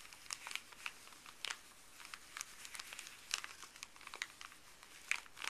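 Fuzzy gloved fingertips scratch and rub a small folded stack of thin paper from a paper pharmacy bag. The result is quiet, bright crinkling with little low end, broken by sharp, dry crackles and short rustles scattered unevenly throughout.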